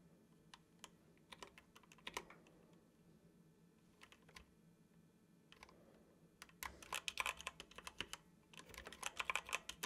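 Fingertips tap the keys of a dark plastic computer keyboard in slow typing with pauses. Short, bright clicks come in irregular bursts, with a quiet gap around the middle and denser, louder runs of keystrokes toward the end, all over a faint low hum.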